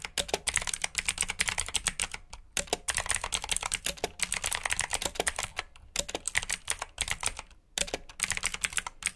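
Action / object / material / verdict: tap / plastic mechanical keyboard / plastic / none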